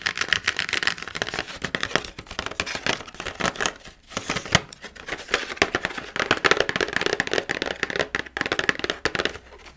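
Fingernails and fingertips scratch and tap a carving kit's plastic blister pack mounted on cardboard, first on the plastic front and then on the printed cardboard back. Dense, bright crinkly scratches mix with quick dry taps that stop short with no ring, growing quieter near the end.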